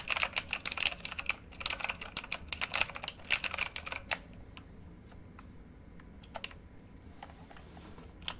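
Fingertips type on a full-size backlit RGB mechanical computer keyboard with plastic keycaps on a hollow housing, lying flat, including the arrow keys. Bright, sharp plastic clacks come in a quick flurry for about four seconds, then slow to a few scattered single taps with quiet gaps between them.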